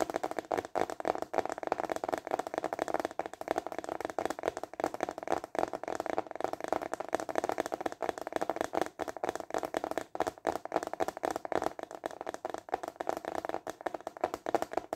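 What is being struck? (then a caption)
Clear plastic container lid. A clear, translucent plastic container lid is held flat in both hands while fingertips tap rapidly on its flat plastic face. The result is a steady, dense stream of short, dry, hollow taps with a mid-range tone around 690 Hz and almost no low rumble or high brightness.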